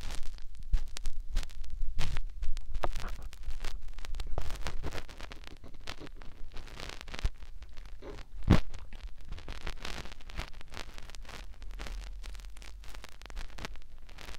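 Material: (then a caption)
Silicone. Several fingertips rub a white, soft silicone ear and its canal on a round binaural microphone, making a dense run of scratchy, crackling rubs and scrapes. The rubbing is loudest in the first few seconds, then settles into a steadier, quieter texture with a brief sharp burst near the middle.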